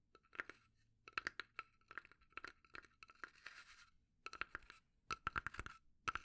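Long nails tap and scratch the sides and lid of a small, hollow, rectangular pine box with a burnt finish, held up in both hands. Quick, dry taps with a hollow knock come in bursts, with a longer scraping scratch in the middle. Each tap dies away almost at once.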